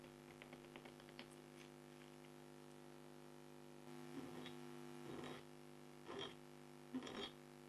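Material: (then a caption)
Coated card. A red-handled scraper pen scratches lines into the coating of an A4-size black scratch-art card (coated board) held flat with one long-nailed hand. Faint, light scratching in the first seconds gives way to louder, rougher scratch strokes in the second half, all over a steady low electrical hum.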